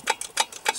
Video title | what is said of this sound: МОТОЦИКЛ НЕ ДЛЯ ЗИМЫ | чтобы по звуку было слышно, что наполнился карбюратор. Более глухой звук будет, когда наполнится.